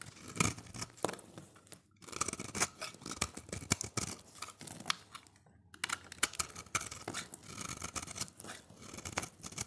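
A utility knife blade shaves thin slices off a solid, dry, oval orange bar of soap held in the hand. Crisp, bright scraping and shaving strokes come in quick bursts, with brief pauses near two and five and a half seconds.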